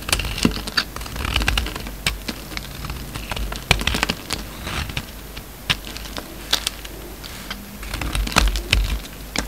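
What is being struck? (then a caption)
Bar of soap cut with a steel blade. A steel utility-knife blade carves crumbly chunks off a hand-sized solid green soap bar with a blue rind, held in the hand. Rapid, dry, crisp scraping clicks and crumbling crunches run throughout, bright and sharp with very short decay over a low background rumble.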